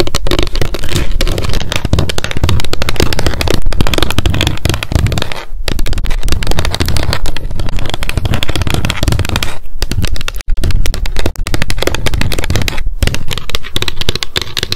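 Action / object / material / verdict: tap / small plastic pump bottle partly filled with oil / plastic / none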